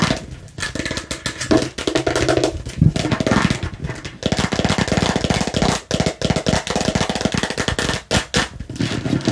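Long pink nails and fingertips tap and scratch fast and aggressively over a hollow, hand-sized red, yellow and green plastic bottle shaped like a watermelon slice, including its red cap. The result is a dense, continuous run of dry, hollow plastic clicks with a low body and scratchy bright rasps. Each tap dies almost instantly, with short dips where the hand pauses.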